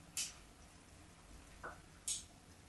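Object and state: Bar of soap.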